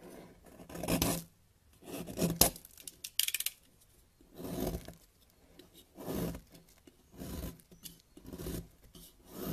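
A yellow box-cutter blade scrapes and carves shavings off a solid white bar of soap held in the fingers over a white table, where the flakes pile up. Soft, breathy rasping strokes come in separate bursts of broad scraping noise that reaches up into bright hiss. A few sharper clicks of the blade come in between, and quiet pauses fall between the strokes.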